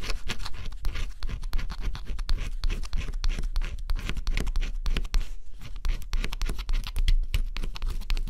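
A stylus scratches the black coat off a flat scratch-off cardboard jigsaw puzzle, revealing the blue underneath. Dense, rapid, dry scratching strokes run continuously, each a short bright rasp over a steady low rumble, with a brief quieter pause just past the midpoint.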